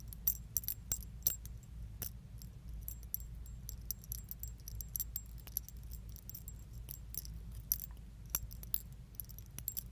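A small metal chain keychain with pink leaf charms is dangled from the fingers and shaken. The parts jangle together in quick, bright metallic clinks and tiny rattles over a low, steady hum.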